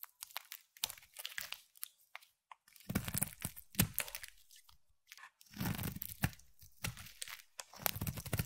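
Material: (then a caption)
Glycerin soap. A utility knife blade cuts and shaves curls off the corner of a hand-sized, solid rectangular bar of translucent amber striped glycerin soap. Repeated crisp, crunchy scraping strokes with a dull low thud beneath them come in short bursts and longer drawn-out shaves, separated by brief quiet gaps.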